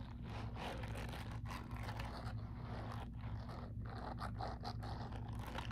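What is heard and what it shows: Fingertips and nails of one hand scratch and rub across the short silicone bristles covering the palm of a grey silicone scrubbing glove worn on the other hand. The result is a steady, dry scratchy rustle in quick, uneven strokes over a constant low hum.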